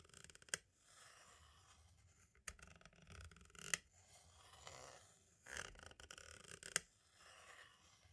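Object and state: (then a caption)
Plastic cassette tape. The pointed tip of a green-striped tool scratches and taps across the label of a small, hollow, white plastic audio cassette shell. Soft, bright scraping strokes are broken by a few sharp, dry clicks that stop almost instantly, all quiet and close.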